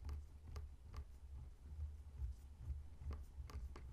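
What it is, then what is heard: Whole pineapple tapped with fingernails. Fingertips and short nails slowly tap and scratch the scaly rind of a whole, solid pineapple lying on a table. Soft, dry clicks and brief scraping ticks come at an uneven, unhurried pace. They sit over a steady low rumble and fade almost instantly.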